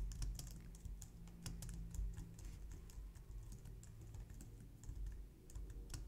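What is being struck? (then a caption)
Plastic computer keyboard. Long nails type quickly on a white low-profile plastic computer keyboard, heard close up. Rapid, light, bright clicks and taps patter unevenly over a steady low hum.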